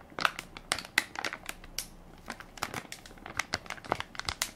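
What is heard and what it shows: A hand-sized Equate baby wipes soft pack of crinkly plastic film, full of wipes and held in one palm, is pressed and crinkled by fingertips and nails. A rapid, irregular series of sharp, bright crackles and crinkles sounds, each dying away almost instantly, with very little low end.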